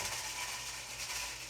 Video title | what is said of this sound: Experiment of the Day - Snake Rattle! | it sounds just like a rattlesnake